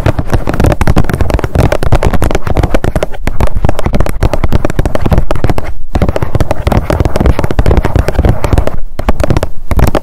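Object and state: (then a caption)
Plastic sunscreen tube, tapped with long nails. Long nails tap rapidly along a blue plastic squeeze tube of sunscreen lying flat. The result is a dense, continuous stream of quick, dull, low-pitched taps, each dying away almost instantly, with only brief pauses in the rhythm.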